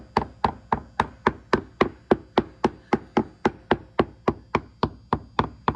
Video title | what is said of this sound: Update on 1956 Capri rotted replacement bottom. | here's a frame right here. You hear that? Dull thud here.